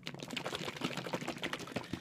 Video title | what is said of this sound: Sunscreen Flasks by Party Ready | you can really hear that that is really liquidy and not like lotion